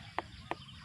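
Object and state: Unripe jackfruit.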